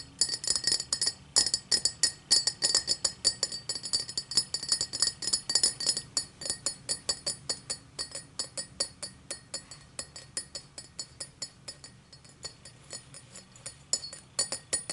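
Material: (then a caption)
Crystal glass. Long nails tap the sides and rim of an empty, tall cut-crystal tumbler in quick, uneven bursts of bright, high clinks. Each tap is short with a brief glassy ring, and the taps soften and thin out toward the end before a few louder ones return.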